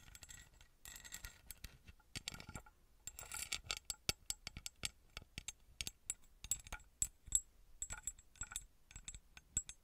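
A small copper-coloured ornate metal pyramid with an embossed surface, held in the hand, is scratched and tapped with long red nails. Soft scratching passages alternate with rapid, sharp metallic taps and clicks that are bright and high-pitched and die away almost instantly.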